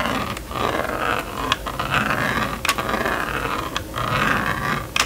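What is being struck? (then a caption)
Plastic magnetic drawing board with stylus. A plastic stylus makes rapid back-and-forth scratching strokes across the screen of a small red and yellow plastic magnetic drawing board toy. The result is a steady, raspy scrape with a band of noise around 1 kHz. Brief bright ticks break in where the strokes change direction.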